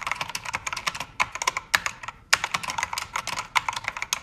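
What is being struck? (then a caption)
Mechanical keyboard with plastic keycaps. A full-size black backlit mechanical keyboard with plastic keycaps, lit red, pink and blue, is typed on with fingertips and nails. The result is a quick, uneven run of bright, crisp clicks with very short decay and almost no low end. The run is broken by a brief pause near the middle.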